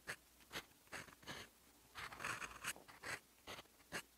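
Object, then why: Steel pen nib on a paper sheet. A fountain pen's steel nib scratches across a sheet of lined writing paper, writing in teal ink. It makes a series of short, bright, dry scratching strokes at an uneven pace, with a denser cluster of strokes in the middle. The sound is quiet, with little low end and no ring.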